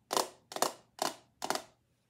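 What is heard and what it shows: A small, clear, solid-walled glass perfume bottle, mostly empty and held in the hand, is tapped and scratched with long acrylic nails. Four separate bursts of crisp clicking and scraping are heard, each a rapid cluster of bright ticks with a glassy midrange tone that fades within a fraction of a second.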